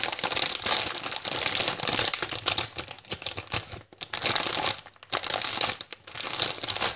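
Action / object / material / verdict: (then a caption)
scrape / plastic bag of sweets / plastic / none. A hand-sized, flexible white plastic packet printed "I love sweets," with a clear window and filled with sweets, is tapped and scratched with long painted fingernails and crinkled in both hands. The result is a dense, bright crinkling and rapid clicking texture with almost no low end, broken by brief quiet gaps near four and five seconds.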